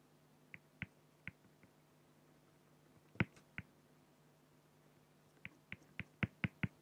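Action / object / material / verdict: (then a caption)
scrape / pen on a flat acrylic sheet / acrylic / none. A fine-tip pen is stroked and hatched across a flat solid acrylic glass (plexiglass) sheet bearing a raven ink drawing, producing about a dozen short, dry, bright ticks of pen scratching on plastic. The ticks come in irregular clusters separated by quiet pauses over a faint steady low hum, quickening into a denser run at the end.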